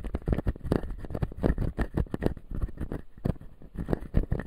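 Fingertips and nails tap and scratch the white plastic teeth of a hand-sized, solid, full clear acrylic dental model. Rapid, dull, clicky taps with very short decay mix with scratchy strokes, mostly low in tone with a faint brighter edge, in a steady, close, irregular rhythm.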